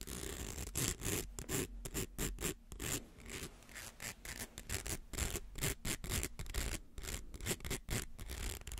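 Fingernails scratch along the ridged coils of a small, hollow, coiled plastic rainbow slinky held in the hands. The result is a quick, uneven run of dry, raspy scratching bursts with a bright edge over a low rumble, each stroke stopping short with no ring.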